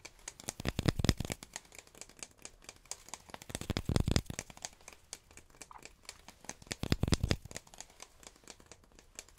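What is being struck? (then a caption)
Cardboard tube. A short, rigid, hollow brown cardboard tube, apparently empty, is held in both hands and tapped with fingertips and nails around its outer wall close to the mic. Quick, dry, irregular taps with a hollow low thump and light crinkly clicks come in three denser, louder bursts near the start, middle and end, with quieter tapping in between.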